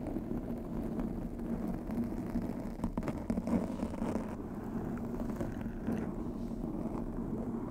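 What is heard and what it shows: Long pink acrylic nails scratch and rub over a black foam windscreen on a white microphone. The result is a steady, muffled, low rumbling scratch with a faint hum-like tone, dense close texture, almost no high end, and a few slightly louder rubbing bursts partway through.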